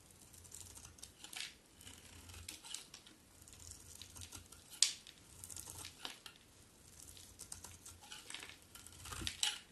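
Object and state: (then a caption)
Bar of soap being shaved. A utility knife blade shaves thin flakes from a solid white bar of soap with black-coated edges, held in the hand. Quiet, bright, crisp scraping strokes come at an irregular pace, with a sharper click near the middle and a louder stroke near the end. A faint low hum sits underneath.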